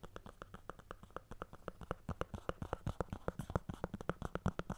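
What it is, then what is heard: Cardboard earphone box. Long painted nails scratch and tap the sides of a small, hollow, closed white cardboard Apple earphone box with its lid on, held in both hands. A steady run of quick, dry taps with a low, hollow body and faint scratching between them continues throughout the clip.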